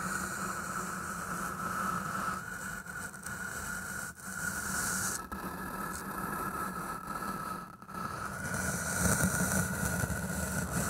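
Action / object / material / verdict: scrape / floral foam block / floral foam / none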